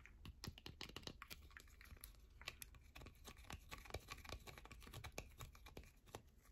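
A solid yellow bar of soap, held in both hands, is scratched and tapped quickly with long nails. Dense, dry clicks and scratchy rasps follow one another in rapid bursts with almost no ring, over a low steady hum.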